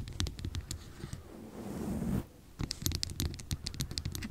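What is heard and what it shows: Long nails tap and scratch a small, hollow glass serum bottle with a paper label and a dropper top. Quick, dry clicks come first, then a rising, rasping scratch that cuts off abruptly. After a brief pause, another run of rapid taps follows.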